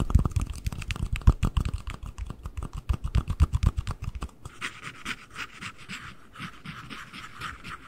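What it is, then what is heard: Empty cardboard ring box. The lid and base of a small, hollow, empty white cardboard ring box, one held in each hand close to the mic, are tapped with fingernails in a fast, uneven run of dull, low thuds for about four seconds. The sound then shifts to a softer, papery scratching of nails across the cardboard, with a hissy mid-to-bright texture.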